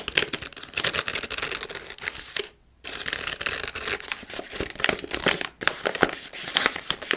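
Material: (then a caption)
Plastic foil. A palm-sized Milkybar snack pouch made of foil-lined plastic is crinkled and scratched by hands on its front and back. Dense, bright crackling and rustling bursts run almost continuously, with very little low end. Two brief silences break the sound, a longer one near 2.6 seconds and a short one near 5.6 seconds.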